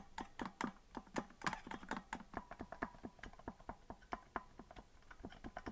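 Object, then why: Plastic melodica keys. Fingers rapidly tap the plastic keys of a green, hollow plastic melodica that is not being blown. The result is a rapid, uneven series of dry clicks, each with a low thud near 230 Hz and a brighter click on top, dying away almost instantly.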